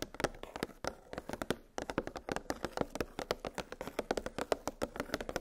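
Long pink nails tap rapidly on a clear hollow plastic clamshell blister package that holds nested metal gingerbread cookie cutters on a cardboard backing. About three dozen short, dry, hollow clicks sound with a mid-pitched plasticky tone, each fading almost instantly.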